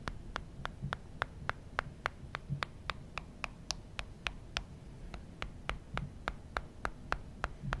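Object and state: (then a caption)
Glass smartphone screen. Fingertips tap and rub the glass front screen of a small, solid handheld phone, the original iPhone. About 27 short, dry clicks land at a steady, quick pace, each a sharp tick with no ring. A soft low rumble of rubbing sits underneath.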